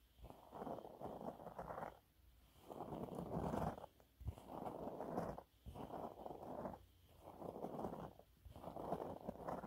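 Fingernails scratch the surface of a yellow waffle-textured cleaning cloth held upright. They make quiet, dry, mid-range scraping rasps in repeated bursts a second or so long, separated by brief pauses.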